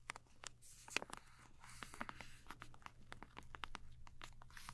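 A full, soft plastic-film wipes pouch is squeezed and crinkled by fingers and scratched with long nails. It makes a quiet stream of dry, bright crackles and sharp scratchy ticks over a steady low hum.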